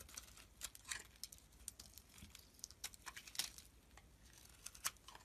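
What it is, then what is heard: Bar of soap being shaved with a blade. A rectangular solid green Nesti soap bar is held in the hand while its surface is shaved and carved with a metal blade. The result is a quiet series of crisp, bright scraping and crackling ticks with almost no low end, each one dying away almost instantly.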